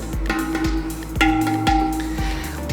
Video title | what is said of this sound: THE RYANS : Review Pot Terakota Berkualitas Tinggi Karya Lokal & Cara Mengetahui Pot Yang Bagus | ini menandakan bahwa potera kotanya tidak ada retak dan ketebalannya serta finishing-nya baik